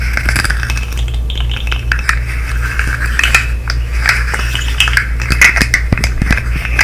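A colorful segmented plastic fidget slug with hollow articulated segments is tapped, clicked and flexed with long nails and fingertips close to the mic. Quick, bright plastic clicks and taps come in a steady, uneven stream over a constant low hum, each click dying away almost at once.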